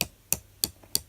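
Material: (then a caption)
Resin. Two knock-off Harry Potter replica wands, resin throughout, are tapped against each other four times. Each tap is a short, bright click with almost no ring, and the wands sound quite hollow.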